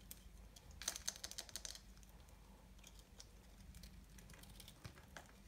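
A solid, dry, multicolored soap ball held in the hand is cut and scraped with a small knife. A quick run of crisp, bright, clicky scrapes clusters near the start, followed by softer, sparser scraping over a low background hum.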